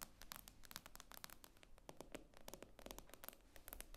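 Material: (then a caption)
Glass. Long painted fingernails tap rapidly on the black glass screen of a solid iPad with an aluminium frame, lying flat on a table. The taps are quiet, sharp clicks with almost no ring, mixed with light scratchy scrapes against a low background hum.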